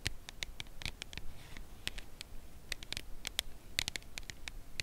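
A full red Lindor cardboard chocolate box is held in both hands and tapped on its edge with long nail tips. A quick, uneven run of short, dry clicks follows, each with a bright, crisp edge and almost no ring, over a quiet low background.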